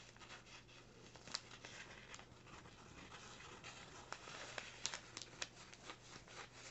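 Fingers crinkle and scratch the top edge of a small, empty brown kraft paper bag lying flat, making quiet, dry, papery rustling with several sharp crackles toward the end. The sound is bright and high, with a steady low hum underneath.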